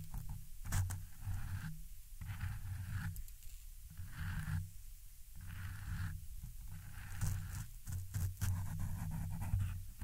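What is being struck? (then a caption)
Foam microphone windscreen. Very long pointed red acrylic nails, with rings on the fingers, scratch and rake a soft, porous black foam windscreen on a silver Blue Yeti microphone. The result is a close, deep, rumbling scrape in repeated bursts, with occasional sharp, bright clicks over the muffled low scratching.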